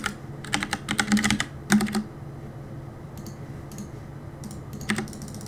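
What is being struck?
Mechanical keyboard with plastic keycaps.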